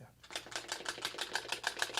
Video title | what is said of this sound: Penn Jillette - Random - Conversations with Authors | shake it up like, hear that dice going on?